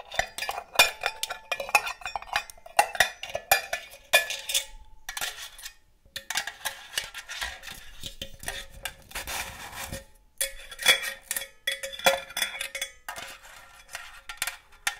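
Long gold metal claw nails tap and scratch a hollow, red and green cylindrical metal cookie tin. Rapid bright metallic clicks and clinks alternate with stretches of scratchy scraping, each tap giving a short ring with a tonal note around 840 Hz.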